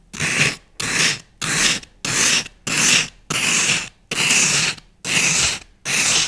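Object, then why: Floral foam block and wooden skewer. A thin wooden skewer scratches and scores a dense grid pattern into a solid block of green floral foam held in one hand. Nine separate, fast, evenly spaced rasping strokes are heard, each a bright, hissy scrape with a little low crunch underneath, separated by short silences.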